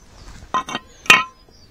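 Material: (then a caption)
Metal. A metal part removed from a motorcycle for cleaning is tapped three times, giving short, bright clinks with a high ring that fades quickly. The clink shows the part is metal, although it sounds like plastic when fitted to the bike.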